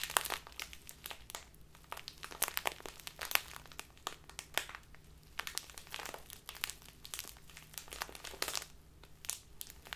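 A small crinkly plastic bag full of loose tea is crinkled and squeezed in both hands with long nails. Dense, bright crinkling and crackling comes in quick bursts and rustles on and off throughout, over a faint low hum.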